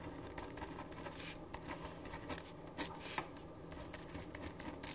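A black ballpoint pen writes on a blank white paper sheet resting on a wooden desk, with the other hand holding the sheet. A quiet, steady scratching is heard, with brief brighter strokes standing out now and then.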